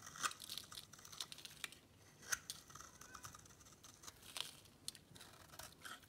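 A metal cutter blade scrapes and carves crunchy flakes off the edge of a solid, dry white bar of soap held in the palm. Soft, bright scraping and crisp crackling run throughout, with a few sharper clicks and almost no low end.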